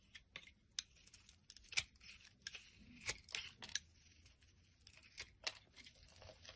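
A blade shaves curled flakes off a solid light-green bar of soap held in the hand. It makes quiet, bright, crisp scraping strokes with short sharp clicks and soft crinkly rustles between them. There is almost no low end and very little ring after each cut.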